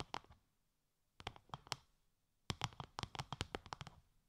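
Long light-grey nails tap a translucent, bubble-textured plastic sheet wrapped over the ears of a 3Dio binaural microphone. Sixteen short, dry clicky taps come in three bursts separated by brief pauses, each with a soft low thump under a bright crackly edge that dies away almost instantly.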